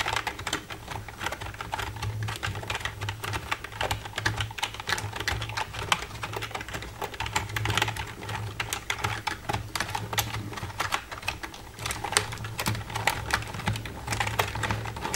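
Long red nails tap rapidly across the keys of a black plastic computer keyboard, making a steady stream of short, bright plastic clicks. A constant low hum sits underneath the clatter throughout.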